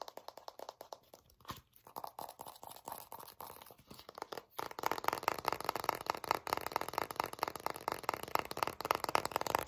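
Long nails rapidly tap and scratch the back label of a full, translucent plastic Vaseline jar filled with jelly. A quick stream of dry, crinkly clicks and scrapes centers in the midrange around 900 Hz with little low end. Around halfway through, the scratching grows louder and denser.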